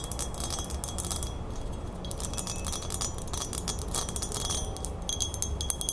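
Long nails tap and scratch the flat base and rim of a silver-toned metal crown with a fleur-de-lis emblem. The result is a steady stream of fast, light metallic clicks and scrapes with bright chime-like ringing. Beneath it sits a constant low rumble.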